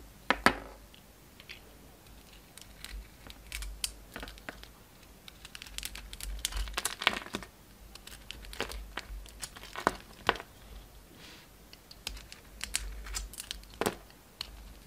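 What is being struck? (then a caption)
Bar of soap scraped with a blade. A utility knife blade shaves and scrapes the surface of a solid oval soap bar with a purple glitter coating and a pink core, held in the palm. Crisp, crinkly scraping strokes come in quick bursts, with sharp bright clicks standing out over a quiet low hum.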